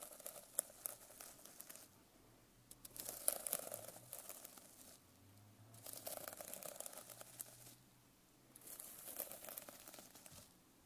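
A silver pen tip scratches and drags across the rainbow sequin cover of a medium hardcover notebook lying flat. The result is bursts of dense, crinkly rustling and clicking, with quieter pauses between passes.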